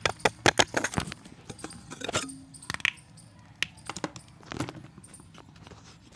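A solid white pressed chalk disc is shaved with a steel box-cutter blade, and flakes crumble off. Sharp, dry scraping clicks and bright crackles come in a dense cluster at first, then space out into sparser snaps and faint gritty rustling.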